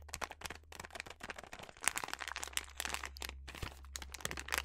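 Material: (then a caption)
Plastic. A filled yellow plastic snack bag of sliced almonds is crinkled and scratched by fingers and long nails. Dense, bright crackling and crinkling comes in rapid short bursts over a steady low hum. It is a busy, close, crisp texture of many quick snaps.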